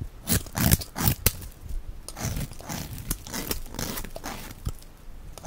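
A box-cutter blade scrapes and shaves the end of a solid, dry, hand-sized white Evyap soap bar held in the hand, peeling it into thin curls. The sound is a quick, uneven run of dry, crunchy scraping strokes with bright, crinkly hiss over a soft low thud, each stroke cutting off short with no ring.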